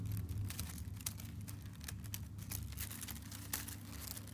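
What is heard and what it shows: Fingertips with short dark-painted nails scratch and crinkle a large crumpled sheet of thin, light brown kraft honeycomb (expanded slit) paper packing wrap lying in folds. Quick, irregular papery crackles and scratches flick bright over a steady low hum near 105 Hz.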